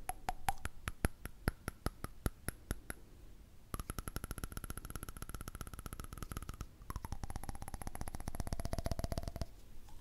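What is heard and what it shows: A candle lid is tapped for ASMR, and covering it with a hand changes the pitch of the sound. Slow, evenly spaced, short bright taps give way to two bursts of fast tapping with a faint ringing tone. In the last burst, that tone slides lower.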